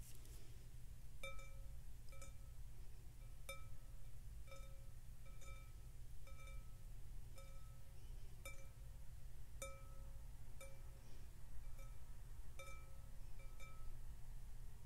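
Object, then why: Glass bowl filled with water. Fingertips and nails tap the rim of a large clear glass bowl filled with water on a glass tabletop, producing a series of ringing glass clinks. Each tap rings with tones near 550 Hz and 1.3 kHz plus fainter high overtones, sounding over a steady low hum.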